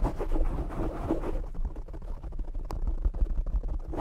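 Fingernails of both hands scratch and tap a black foam windscreen on a desktop microphone. A dense, rustling scratch with a heavy low rumble fills the first second and a half, then gives way to sparser, dull thumping taps and lighter scratches.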